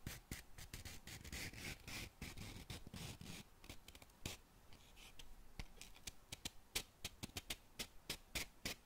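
Long nails scratch and rub a small cardboard matchbox whose drawer is half open and full of wooden matches. For the first few seconds there is a dense, bright, papery scratching; after that it turns quieter, with quick, sharp ticks and scrapes that come in uneven bursts.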